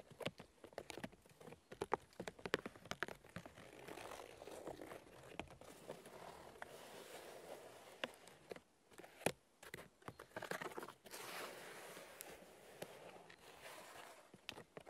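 Fingers and nails tap and scratch the white bark of a large solid birch log. Sharp, dry taps scatter over stretches of soft, crackly scratching with a papery mid-range rustle and little low end.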